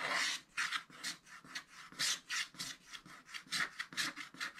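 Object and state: Scratch-art paper being scraped.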